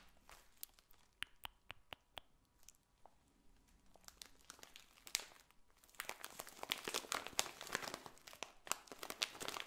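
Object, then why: Clear plastic cellophane bag of dried petals. A full, clear plastic cellophane bag of dried potpourri petals is held beside the mic, then crinkled and scratched with long nails. Sparse, sharp, bright crinkles and ticks come first, then after about six seconds they turn into dense, louder crackling and rustling. The sound is mostly high-pitched, with very little low end.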